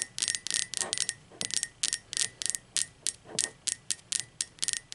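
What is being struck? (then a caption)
Glazed ceramic mug. Long pointed acrylic nails tap the sides of an upright, hollow, blue speckled glazed ceramic mug. The result is a rapid, uneven run of bright, sharp clicks that die away almost at once, each leaving a faint high ring.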